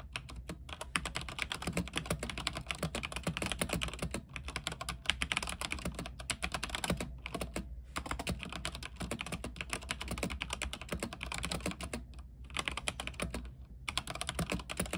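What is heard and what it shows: Fast typing with the fingertips of both hands on an RGB mechanical keyboard with white plastic keycaps on an aluminium frame. It produces a dense stream of short, bright plastic clacks that die away almost instantly, with brief pauses around 7, 8, 12 and 13.5 seconds. A steady low hum sits beneath the keystrokes.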